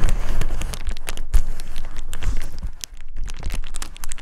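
A clear plastic bubble wrap sheet is rubbed and crumpled from behind by one hand while the other holds its edge, crinkling the air bubbles. The result is a dense, continuous crackle of sharp, bright snaps over a low handling rumble, with brief dips where the rubbing eases.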